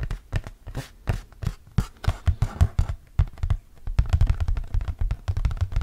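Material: Hard plastic.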